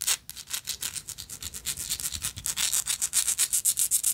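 Long nails scratch and rub a small, hollow, gold-tone textured metal lighter, making a quick run of about thirty short, dry, bright scratching strokes. The strokes grow louder and more evenly spaced toward the end, each cutting off almost at once with no ring.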